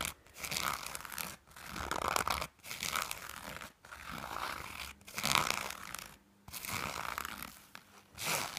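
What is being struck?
Knit fabric item.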